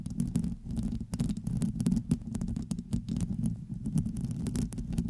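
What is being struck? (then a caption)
Metal mesh microphone grille scratched and tapped with long nails. Long acrylic nails scratch and tap across the hollow dome of a black metal mesh grille on a USB microphone. The result is a dense, low, rumbling crackle scattered with many short, bright clicks that stop almost instantly.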